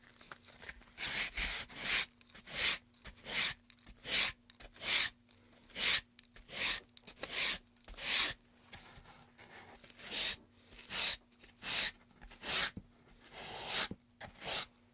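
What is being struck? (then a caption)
Wooden pen tray. A gloved hand scrapes and carves the groove of a solid light wooden pen tray, about 30 cm long, lying on a dark mat among shavings, using a small blade. About 14 bright, rasping scrapes come in a fairly steady rhythm, each short and dry, over a faint steady low hum.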